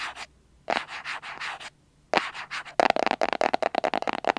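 Fingernails scratch and rub the surface of a small, hollow white cardboard box held in both hands, making dry, papery strokes with a hollow resonance in the midrange. Slow rhythmic scrapes come in bursts separated by short silences, then give way to a quicker run of short, sharp scratches.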